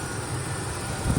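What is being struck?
Nothing is struck.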